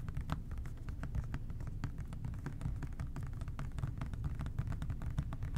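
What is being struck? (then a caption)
Plastic spray bottle. Fingertips tap rapidly on the labeled body of an OxiClean plastic spray bottle held in both hands. The result is a dense, steady stream of soft, hollow, low taps with very short decay and brief clicky transients above them.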